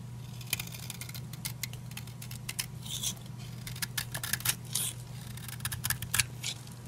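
A utility knife blade cuts and scrapes repeatedly through a solid purple oval bar of dry soap held in the hand. Many short, dry, bright crackling scrapes and snaps come in quick succession over a steady low hum.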